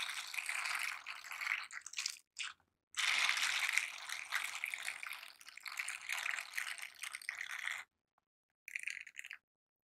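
A pair of light blue silicone dishwashing gloves with bristle-covered palms, worn on both hands, are rubbed and scratched against each other. The result is a dense, bright, scratchy rustling centered around 2 kHz, with almost no low end. It comes in irregular bursts broken by short silences, and a longer pause comes before a final brief burst.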